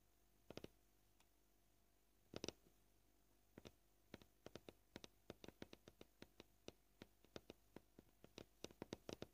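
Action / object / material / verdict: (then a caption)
tap / plastic cutting board tapped with fingernails / plastic / none. Fingernail tips tap and click on a solid white plastic cutting board, heard up close. Short, dry clicks come gently in irregular bursts at a varying pace, some in quick pairs and clusters, over a faint steady hum.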